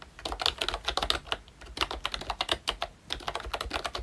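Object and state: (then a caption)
Plastic membrane keyboard. Both hands tap with their fingertips across a pink plastic ROYCHE Disney Mickey Mouse retro membrane keyboard with round black keycaps. The result is a quick, uneven run of short, bright clicky taps with little low end, each dying away almost at once, with a brief pause near the middle.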